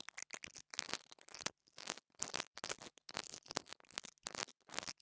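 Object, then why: Small lavalier microphone with metal grille. An interdental brush scratches the top of the metal grille on a small black plastic mini lavalier microphone. Repeated short, bright, scratchy bristle bursts come close to the mic, separated by brief silences, with almost no low end.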